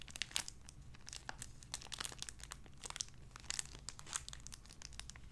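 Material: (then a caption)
Plastic film. A small clear cellophane-like plastic bag holding a soft white-and-pink squishy animal toy is held in both hands and crinkled and squeezed with the fingertips and long red-painted nails. A dense run of sharp, bright crinkles and crackles sits over a faint low hum, with no ringing after each crackle.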